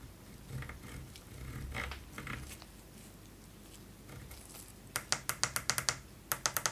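A gloved fingertip presses single keys one at a time on a white Roccat Vulcan 122 AIMO mechanical gaming keyboard, with plastic keycaps on an aluminium plate, working across the media keys, the volume area and the numpad. Soft, low rustling and faint scraping give way to a run of sharp, bright, dry key clicks that die away almost instantly.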